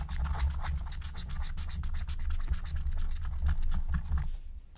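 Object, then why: Coated scratch-art paper sheet scratched with a wooden stylus. A wooden stylus rubs and scratches the coating off a thin, black-coated scratch-art card lying flat. It makes a steady run of quick, dry scratching strokes with bright, hissy edges over a dull low rumble. The scratching thins out and fades near the end.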